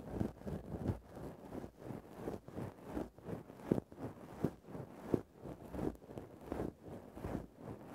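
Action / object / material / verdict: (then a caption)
scrape / synthetic fur microphone windscreen scratched with a wooden stick / synthetic fur / none. The tip of a wooden stick scratches into the top of a grey faux-fur synthetic microphone windscreen. It makes a steady, slightly uneven run of soft, muffled scratching strokes, with low rustling and no brightness, at roughly 80 strokes per minute.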